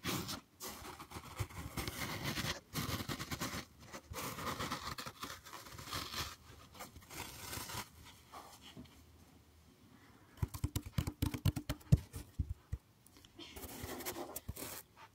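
A large, solid green floral foam block held close to the mic is gripped, pressed and scratched with fingers and nails. Dense, crunchy scraping and crackling fill the first eight seconds, then fade to a quiet stretch. Sharp, brittle crackles and snaps follow before softer scratching returns at the end.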